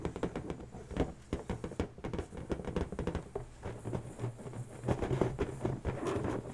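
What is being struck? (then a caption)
Inflated latex balloon. Long natural nails tap and scratch the taut surface of an inflated, hollow pink latex balloon resting on a table. A rapid, uneven stream of soft, dull taps with quick decay is heard, carrying a hollow low resonance under faint scratchy friction.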